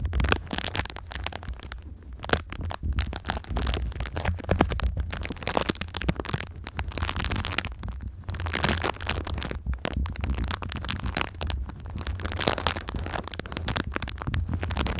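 Long nails tap and scratch the surface of a silver foil-faced foam insulation sheet folded into a V shape. Dense, rapid crackling taps and crinkly scratches carry a bright, hissy edge over a steady low hum for the full 15 seconds.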